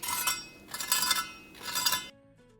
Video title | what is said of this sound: The PERFECT Crispy Blooming Fish for Chinese New Year! | Double frying makes the fish crispy and less oily.